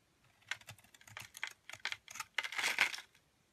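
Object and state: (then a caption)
Black charcoal soap being scraped. A metal blade scrapes brittle shards off the surface of a round, palm-sized cake of black charcoal soap. It makes a string of crisp, dry, bright crackling scrapes with quick decay, ending in a denser, longer grinding scrape.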